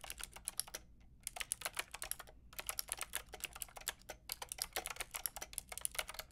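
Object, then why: Plastic mechanical keyboard with round keycaps. Fingertips with long painted nails type on a white-pink backlit mechanical keyboard with round plastic keycaps. Rapid, bright, clicky key taps come in quick bursts, broken by short pauses. Each tap is crisp, with almost no ring.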